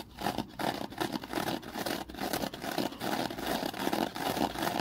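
A small, porous rectangular kitchen sponge of soft foam with a thin scouring layer on one side is held in one hand in front of a ring light and squeezed and scratched with the fingers. The result is a steady stream of dry, crackling scratches and soft squishy rustles, mostly mid-range, that swell and dip irregularly throughout.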